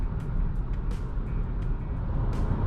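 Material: Nothing is struck.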